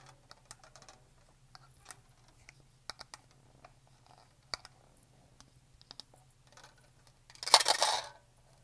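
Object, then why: Hollow plastic shaker bottle. A black Blender Bottle shaker bottle, hollow plastic and about 20 cm long, is held horizontally in both hands and tapped with long painted fingernails along its body and lid. Light, quick, irregular clicking taps sound over a faint low hum, then a louder bright, scratchy rush swells near the end before fading.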